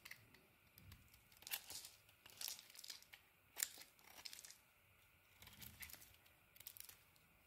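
A small metal knife blade shaves and carves a solid, palm-sized bar of white soap with a purple-red coated surface, held in one hand with painted-nail fingertips, peeling off curls and flakes. It makes quiet, bright, crisp scraping and crackling strokes in short bursts separated by brief pauses, with almost no low end.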